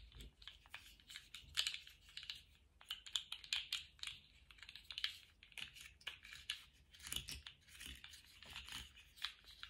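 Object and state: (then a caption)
Plastic articulated slug fidget toy. A small rainbow-striped, jointed plastic slug fidget toy with hollow segments is wiggled and flexed in gloved hands, so the segments click against each other. The result is a quiet, continuous stream of quick, bright plastic clicks and crackles in irregular bursts, with almost no low end.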